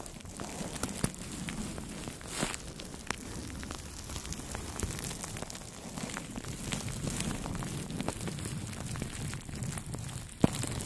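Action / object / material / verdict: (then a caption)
scrape / plastic cling film over a microphone, brushed with soft brushes / plastic film / none. Two makeup brushes rub and brush over clear plastic cling film wrapped around the head of a Blue Yeti microphone. The result is a steady, low-heavy crinkling rustle with a fine crackle running through it. Occasional sharp pops and clicks stand out, the strongest near the end.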